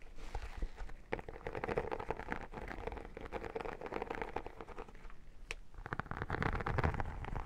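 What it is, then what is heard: Textured vinyl photo album cover. Long nails and fingertips scratch and tap across the holographic embossed vinyl cover of an iridescent textured photo album held up in the air. A dense, crackly scratching runs throughout, punctuated by sharp little taps, and it swells louder and rougher near the end.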